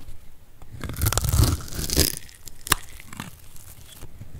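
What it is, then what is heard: Dry soap bar, crunchy. A metal blade cuts a solid, dry orange soap bar held in the hand into small cubes. The crunchy crumbling has a dense, low-heavy body and swells to its loudest in the middle. A sharp, bright snap near the end gives way to softer crumbling.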